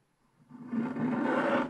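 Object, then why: Wax-coated scratch-art paper page scraped with a wooden stylus. A pointed wooden stylus held in the fingers scratches away the black wax coating of a flat scratch-art paper page, which covers a colored print and lies on a table. The scratch rises from near silence over about the first 0.7 seconds into a steady, rasping scrape with a humming tone around 250 Hz. It holds for about a second before stopping abruptly.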